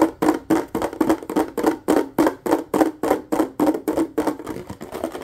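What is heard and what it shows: A nearly empty clear plastic bottle is held and tapped quickly with fingertips and a single finger. The steady run of dry, hollow taps has a low-mid tone around 300 Hz, each dying away almost at once.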